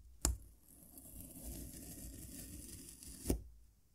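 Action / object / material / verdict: scrape / packed kinetic sand cut with a serrated metal knife / kinetic sand / none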